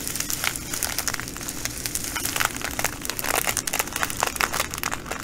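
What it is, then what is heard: Plastic bag of glass bugle beads. A full plastic bag of green glass bugle beads is folded and squeezed by fingers and scratched with long nails. The result is a continuous bright crinkling with dense, fast crackles and short sharp clicks that swell in bursts throughout.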